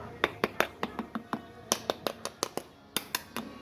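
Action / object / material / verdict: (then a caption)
tap / roast pig skin / pork skin / crispy. Someone taps the skin of a roast pig (lechon) to check if it is crispy, making 16 quick, dry, bright clicks in uneven bursts with almost no ring. The crackling skin proves crisp and breaks.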